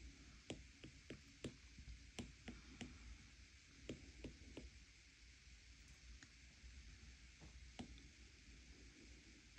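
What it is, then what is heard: Glass tablet touchscreen tapped with stylus. The plastic tip of an Apple Pencil-style stylus taps twelve times on the glass touchscreen of an iPad lying flat on a table, showing a colouring app, while a hand with long teal nails rests on the bezel. Each tap is a short, dry click that dies away almost instantly, heard over a steady low hum and a faint bright hiss.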